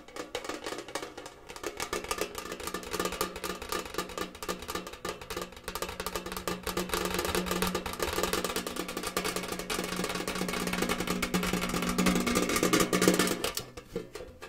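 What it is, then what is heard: Metal tin tapped with fingernails. A tall, hollow, rectangular gingham-printed metal Kellogg's tin canister is held in the hands and tapped fast with fingernails. The result is a dense, continuous patter of quick, hollow metallic clicks with a faint ringing tone and bright edges. The tapping grows slightly louder through the middle and drops off just before the end.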